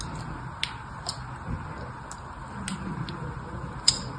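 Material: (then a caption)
Soap. A solid red rectangular bar of soap is held in place by one hand while a fine pin or needle in the other hand scratches crisscross lines into its top, leaving visible carved grooves. About six sharp, bright scratching ticks cut through a steady low background hum.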